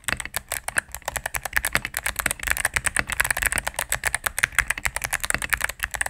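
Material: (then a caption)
Plastic. Rapid typing with fingertips and medium nails on a cream full-size mechanical keyboard with plastic keycaps on a solid plastic case. About 38 quick, dry clacks in a steady stream, each with a sharp bright click around 1.6 kHz and almost no ring or low thump.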